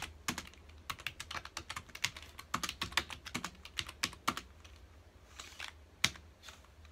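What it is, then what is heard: Plastic computer keyboard being typed on. Fingertips of both hands rapidly press the keys of a full-size black plastic computer keyboard on a dark desk. Bright, short clicky taps come in quick, uneven bursts over a faint low hum. The typing thins to softer taps near the end, with one sharp loud tap standing out.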